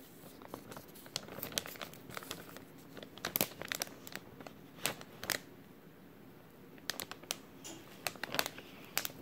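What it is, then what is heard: Crinkled plastic bag. An empty, thin clear plastic bag with a white label is crinkled and rubbed with fingertips. It makes bursts of crisp, bright crackling and rustling, with a quieter stretch of soft rubbing near the middle before sharp crinkles return toward the end.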